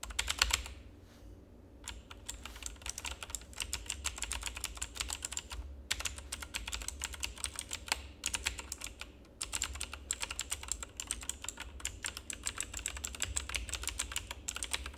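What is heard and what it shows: Rapid fingertip typing on a full-size black plastic mechanical keyboard with RGB backlight gives a dense stream of bright, crisp key clicks. Brief pauses break the typing near 1 second, 6 seconds and 9 seconds. A steady low hum sits underneath throughout.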